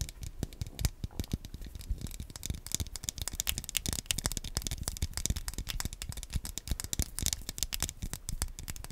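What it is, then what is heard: Plastic game controller tapped with nails. A small black hollow plastic Wii Nunchuk controller is held close to the microphone in both hands while fingertips and nails tap and scratch its face and buttons. The result is a rapid, steady stream of dry, clicky plastic taps with bright, crisp tops over soft low thumps, each tap dying away almost instantly.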